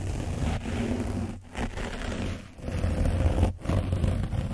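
A foam brush is rubbed over the front and back of an orange foam microphone windscreen coated with dried paint. It makes a dense, close, low scratching and rustling rumble, broken by a few brief dips in level as the strokes change.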